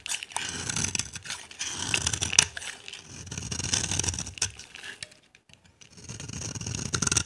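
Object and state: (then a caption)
Dry bar soap being carved. A utility knife blade scrapes and carves a solid, dry, cream-white bar of soap held in the hand, shaving off crumbly flakes. The sound is a run of bright, dry scratching strokes with little low end, a short quiet pause near the end, and then more scraping.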